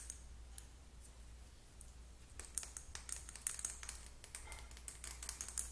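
A small, slim, partly full Sally Hansen plastic lip gloss tube is held between the fingers and tapped and scratched with long acrylic nails. Soft, bright scratching at first gives way to quick, sharp, clicky taps that grow busier and louder toward the end, over a steady low hum.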